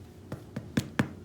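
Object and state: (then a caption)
Hollow-sounding baked bread roll (done). Four knocks on a freshly baked bread roll give short, hollow, low thuds that die away almost at once. The hollow sound shows the roll is done, even though it is only slightly brown on top.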